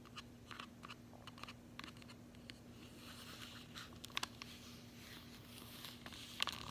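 Long fingernails tap and scratch the back of a closed cardboard chocolate bar sleeve held in the hand. Quiet, irregular, bright clicks and dry scratchy rustles come over a faint steady low hum, with two sharper taps standing out near the end.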